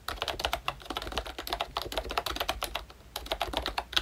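Fingertips type steadily on a ROYCHE Disney Mickey Mouse full-size retro membrane keyboard with a hollow pink plastic case and round black plastic keycaps. A rapid run of short, bright, plastic clacks has a slight hollow low thump and very little ring, with a brief lull around the three-second mark before the typing picks up again.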